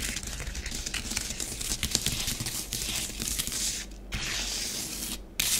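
Long nails drag parallel lines through orange bath bomb powder spread on a grey plastic tray, making a dense, bright scratching and rubbing hiss with a faint low hum underneath. The steady gritty strokes pause briefly twice near the end before resuming.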